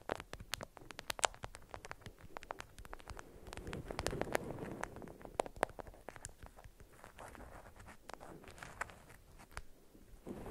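Long nails tap and scratch the stiff faces of a beeswax-coated cotton wrap folded around a cube resting on green felt. The result is a quiet, dense run of quick, dry, bright ticks and clicks over a soft scratchy rustle that swells in the middle and then thins out.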